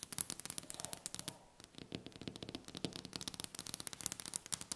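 Long red-painted nails tap and scratch quickly across a large, solid, polished dark wooden tabletop. Sharp, bright clicks come in a fast, dense stream, broken by a brief quieter stretch of soft scraping before the rapid tapping resumes.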